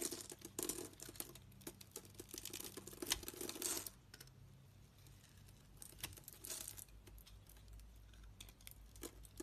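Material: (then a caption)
Soap. A solid rectangular white bar of soap with a scored grid, held in the hand, is carved into small cubes with a metal utility knife blade. Dense, bright, crisp scraping and crumbling cuts fill the first four seconds, then thin out into quieter, sparser slicing and soft crumbles.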